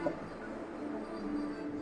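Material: Nothing is struck.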